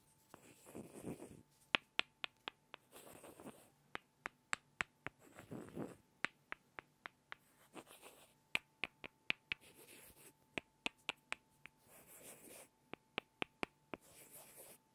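Two small solid light-wood blocks are tapped together by hand, giving about thirty sharp, dry, bright clicks that stop almost instantly. The taps come in quick runs, separated by short, soft, scratchy swishing bursts, and a faint steady tone sits underneath throughout.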